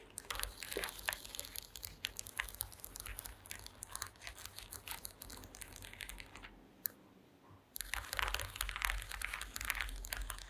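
Long green acrylic nails tap and scratch across a flat, solid woven wooden slat mat, producing a dense stream of quick, irregular taps and bright scratching rasps. The scratching pauses briefly around the seven-second mark before resuming just as busily.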